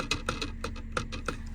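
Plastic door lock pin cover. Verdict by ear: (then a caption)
Hollow. A hollow plastic inner door lock pin cover on a Jeep is tapped several times, giving short, light, clicky knocks with a hollow, plastic tone and almost no ring. When the metal door pin goes down, it taps into this hollow plastic cover, causing an unwanted rattling noise.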